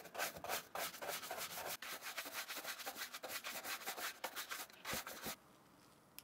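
A wooden-backed brush with dark bristles is rubbed back and forth over the suede and canvas upper of an empty black and white Vans slip-on shoe held in the hand. A quick, uneven run of dry, bright scrubbing strokes gives a rough, hissy swish. The brushing stops a little after five seconds, leaving near silence with one faint tick at the end.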